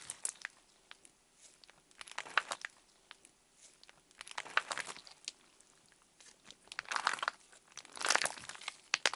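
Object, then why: Clear slime. Clear orange slime is pulled up into a thin sheet, then pressed and poked with fingertips on the table. It gives off bursts of bright, crinkly crackling and popping with quiet gaps between, growing fuller toward the end.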